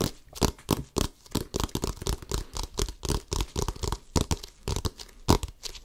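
Fingertips quickly scratch and tap the pebbled rubber surface of a full-size, hollow, inflated orange Wilson basketball held close to the mic. About two dozen rapid, crackly, brushing bursts come with dull low thumps from the hollow ball. Each dies away almost at once, giving a fast, busy patter.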